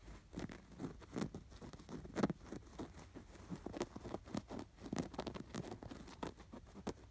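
Fingertips and nails scratch the fine embroidery on a stuffed canvas pillow with an appliquéd sweater design. A steady run of quiet, dry, short scratching strokes patters across the clip, with sound mostly in the low-mid range and almost no ring after each stroke.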